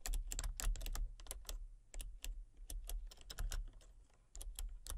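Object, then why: Plastic computer keyboard. Fingertips and long painted nails type rapidly on a full-size backlit plastic RGB computer keyboard with hollow key switches and colour-cycling lights. Bursts of sharp, bright clicky key taps are separated by brief pauses over a steady low hum.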